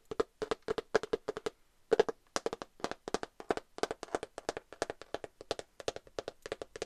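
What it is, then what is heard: Glitter cardboard eyeshadow palette. A glitter cardboard eyeshadow palette is tapped with long nails and fingertips in quick clustered bursts, about 46 taps in all with a brief pause near the two-second mark. Each tap is a short, dry, hollow click centered around 430 Hz with a bright edge and almost no ring.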